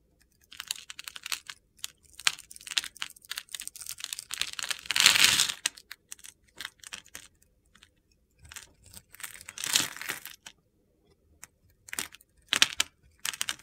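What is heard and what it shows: A solid green bar of soap held in the hand has its edges scraped and cut with a metal utility blade, shedding gritty, crumbly shavings. Dense, crisp scraping and crunching bursts with dry clicks come in irregular clusters with brief pauses. The louder, longer scrapes fall around five and ten seconds.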